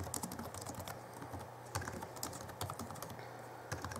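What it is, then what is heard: Plastic laptop keyboard. Both hands type rapidly with their fingertips on the backlit chiclet keyboard of a 2011 Alienware M11x2 laptop with plastic keys. The result is a quick run of short, clicky plastic key taps with bright transients and a few louder strikes. A steady low hum sits underneath.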